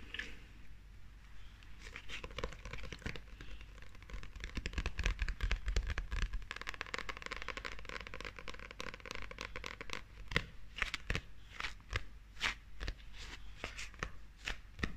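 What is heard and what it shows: Long acrylic nails scratch and tap the shiny front cover of a small, solid, glossy paperback manga book held in the hand. The result is a steady stream of crisp, crackly scratching broken by rapid, irregular sharp taps, with a few brighter clicks standing out toward the end.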